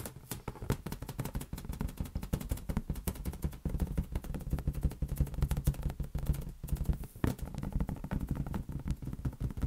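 Fingers pat and tap a large, hollow, inflated green latex balloon held near an open hand. The result is a fast, continuous stream of soft, dull, low thumps that die away almost instantly.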